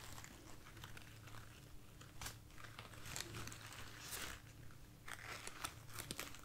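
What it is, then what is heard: Foam rose bouquet. A light, soft bunch of white artificial foam roses is held in the hand and scratched and rubbed with long nails and fingertips. It makes soft, crinkly, squeaky scratching with brighter bursts of rustle over a steady low hum.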